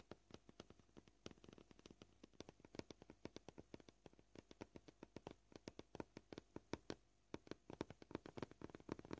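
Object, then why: Plastic cutting board. Short painted nails tap on a flat, solid white plastic cutting board in a quick, uneven run of dozens of crisp, dry clicks with a mid-low knock around 320 Hz. The taps are gentle and die away almost instantly, with the pace shifting throughout and a brief pause near the seven-second mark.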